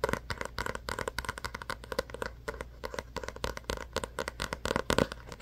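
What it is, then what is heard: Paperback book. Fingertips and short nails tap and scratch the glossy card cover of a small paperback book held in both hands. The result is a quick, dry run of light taps mixed with soft scratchy rustling, each tap clicking short and papery with a hollow midrange body and a faint low hum underneath.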